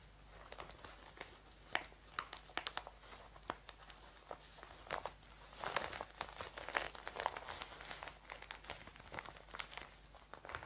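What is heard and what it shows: Fingertips with long painted nails grip, crinkle and rub a large, thin, clear plastic zip bag with red edging, which lies hollow and mostly empty on a wooden table beside an untouched pile of paper receipts. Quiet, crisp crackles and sharp, bright snaps come in uneven bursts over a soft hiss, growing denser and louder through the middle before easing off again.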